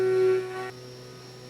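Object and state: Nothing is struck.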